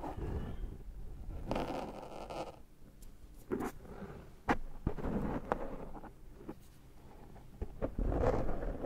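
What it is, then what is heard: Foam microphone windscreen being rubbed. Fingertips rub and scratch the black foam windscreen on a Zoom microphone while picking cat hair off it. The result is close, muffled rumbling and soft scraping, broken by brief bright scratchy bursts and sharp little clicks at irregular intervals.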